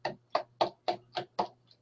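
A plastic bourbon bottle is knocked six times in steady succession, then once more faintly, each knock a short, dull, hollow thud centered around a mid pitch with almost no ring. The plastic gives a dull thud rather than the tinkling of a glass bottle.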